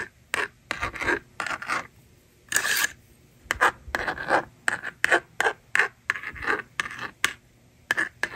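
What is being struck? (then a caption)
Plastic magnetic drawing board with stylus. A plastic stylus scratches across the screen of a hand-held plastic magnetic drawing board in a run of short, dry scratchy strokes with a bright hiss, then the board's slider is pulled across to erase it. The strokes carry a thin, raspy tone around 1.8 kHz, with a longer scrape partway through, and each one stops dead with almost no ring.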